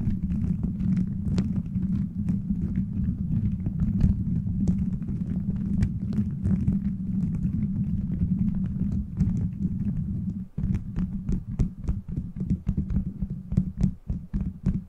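A beaded plastic gummy-bear cover on a microphone is scratched and rubbed by fingers, giving a steady, deep rumbling rustle packed with quick clicks. The energy sits mostly in the low range, with sharp ticks reaching high. Near the ten-and-a-half-second mark the rumble briefly drops out, then returns with more spaced, distinct clicks.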